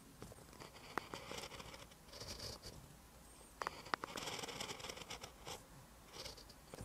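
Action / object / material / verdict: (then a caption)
scrape / ballpoint pen on a lined paper notebook page / paper / none. A ballpoint pen tip writes on a lined paper notebook page resting on a desk. Soft, bright scratching comes in bursts of handwriting strokes, with a few sharper taps standing out near one second and around three and a half to four seconds.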